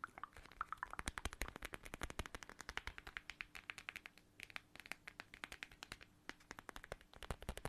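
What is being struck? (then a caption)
Small plastic pouch filled with gel beads. Long nails scratch and tap a small, flat, transparent plastic watermelon-shaped pouch filled with red gel beads. A quiet, rapid, steady stream of crisp clicks and taps runs throughout, with short bright plastic crackles and a soft scratchy texture between the hits.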